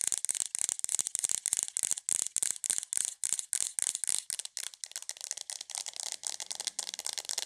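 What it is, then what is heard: Plastic aroma diffuser. Long nails tap and scratch on a hollow white plastic aroma diffuser with an LED, making a fast, continuous run of dry, bright clicks and rattling scrapes. The sound has almost no low end, and each tap dies away instantly.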